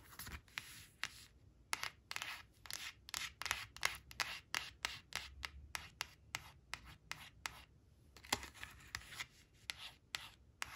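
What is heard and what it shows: Long nails trace and scratch along the printed black crayon picture on a thin, flat, glossy coated cardboard flash card, which rests on a fabric cloth and is turned by hand. About thirty short, bright, dry scratching strokes come in quick bursts with brief rubbing between them. There is almost no low end and no ring after each stroke.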